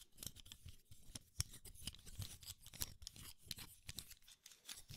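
Fingertips squeeze the spring clips of a small, hollow black plastic camera lens cap held up close to the mic, with light fingernail tapping and scratching on the plastic. The result is a quiet, rapid run of sharp, dry clicks with bright crackly edges and soft low thumps. Each click stops almost instantly, with no ring.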